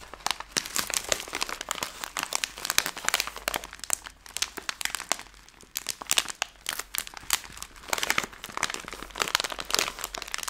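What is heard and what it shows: A hand-sized Skittles bag made of plastic film is held in both hands and crushed and crinkled with the fingertips and long nails. Dense, bright crackling comes in rapid sharp crinkles with almost no low end, easing briefly near the middle before louder bursts return.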